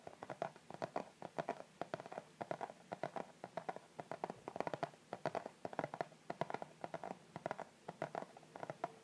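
Fingertips and short nails tap and scratch across the front of a flat, white-and-pink striped Victoria's Secret cardboard gift box, which is hollow and rigid and held upright in both hands. Rapid, irregular, dry taps with a hollow midrange knock around 670 Hz come in quick clusters, each dying away almost instantly, with faint scratchy rustling between them.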